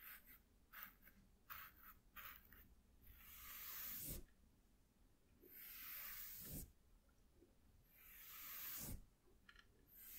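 A fluffy makeup brush is swept over the surface of a flat white corrugated cardboard sheet, starting with quick, short brushing strokes. Then come three long, bright, airy sweeps that each build in loudness and end in a soft low thud.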